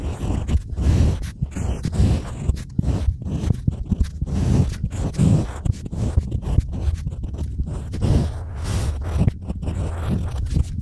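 A pointed stylus scratches and carves lines into a small, flat, solid slab of pink-painted unfired pottery clay resting on a white table, and fingers brush the crumbs away. The result is a steady run of dry, gritty scraping and crunching strokes, heavy in low rumble with almost no bright content and each stroke dying off at once.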